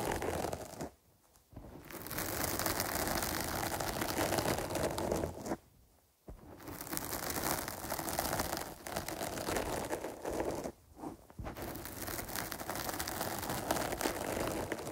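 Long pointed nails scratch and rub the porous surface of a dark foam windscreen on a microphone, which is cupped by both hands. The result is a dense, continuous crackling and rustling scrape spread from low rumble up to bright, high hiss. It stops for three short near-silent breaks before resuming.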